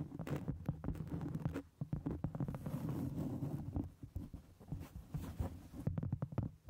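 Long acrylic nails tap and scratch a round solid cork board held flat close in front of a microphone. The sound is a quick run of dull, soft thuds mixed with muffled scratchy rustling, heavy in low boom with almost no bright edge. Each tap dies away almost at once, with a brief quieter patch of scratching before the tapping picks up again.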